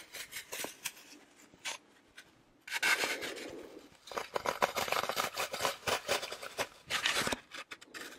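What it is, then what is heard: Floral foam block. A green floral foam brick, solid and porous with crumbled edges, is held upright beside the mic while fingernails scratch and rub its surface. Quiet, separate scratches give way to a dense burst of rubbing, then a longer run of crisp, rapid scrapes. The sound is dry and bright, with almost no low end and no ring after each stroke.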